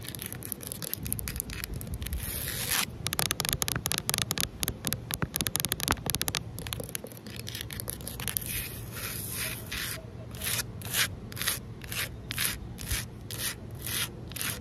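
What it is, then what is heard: Concrete ledge. Long nails and fingertips rub and scratch across a large, solid outdoor concrete ledge, making dry, bright, gritty scraping. The first half is a dense run of quick strokes; after about ten seconds it shifts to slower, evenly spaced sweeps that swell and fade, over a steady low hum.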